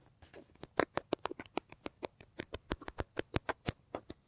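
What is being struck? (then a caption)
Leather bag. Fingertips and nails rapidly scratch, tap and rub the face of a large, hollow brown leather bag. About twenty dry, sharp taps land in an uneven patter over soft scratching, each dying away almost instantly.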